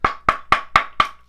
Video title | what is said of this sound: What is puck feel & pinginess? Reviewing hockey stick blades construction | it's totally empty and it's Hollow and it sounds really weird and yeah it is cut now so it sounds even weirder